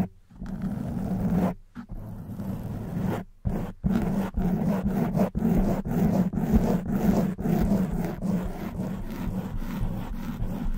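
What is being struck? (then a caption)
Open-cell foam microphone windscreen. Long white acrylic nails from both hands scratch and rub a hollow black open-cell foam windscreen fitted over a silver studio microphone. The result is a dense, muffled, low rumbling scrape, broken by a few brief silences and short dips as the strokes pause and restart.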